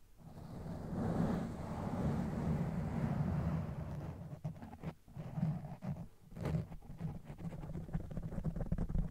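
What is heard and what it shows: Fingertips of both hands rub and scratch a soft, porous black foam windscreen covering a standing microphone. A low, muffled rumbling scrape swells and continues steadily, with brief dips and soft crackly bursts through the second half.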